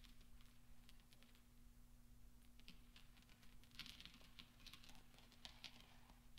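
Fingertips and nails push and gather small solid steel pachinko balls on velvet, with rings on the fingers, so the balls knock together. Quiet, scattered bright metallic clicks and soft ticks patter throughout, growing denser and sharper in the second half. A steady low hum sits underneath.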